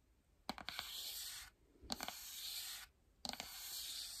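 Long nails rub and scratch along the spine edge of a lime-green cardboard album box held by its spine. Three passes each open with a few sharp clicks of the nails, then settle into a steady, bright, hissing scrape before going quiet.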